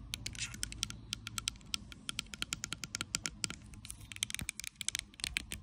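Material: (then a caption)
Plastic. Long acrylic nails tap and scratch a small, clear plastic Bioderma micellar water bottle with a pink cap, full of liquid, moving over both the bottle body and the cap. A rapid, irregular run of crisp, bright clicks is heard over a soft scratching hiss and a faint low rumble, each tap cutting off almost instantly.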